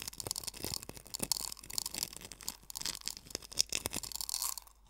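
Fingers press, rub and scratch coarse sea salt crystals in a small hollow wooden bowl. The result is a dense run of dry, bright crunches and gritty scraping with almost no low end, fading quieter in the final moments.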